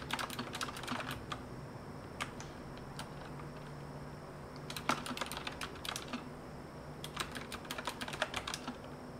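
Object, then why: Mechanical keyboard with metal frame and round plastic keycaps. Fingertips type on a full-size retro typewriter-style mechanical keyboard resting on a desk, with a copper/rose-gold metal frame and round backlit plastic keycaps. Bright, sharp clicky keystrokes come in quick bursts at the start, middle and end, with a few scattered presses between. A faint steady low hum runs underneath throughout.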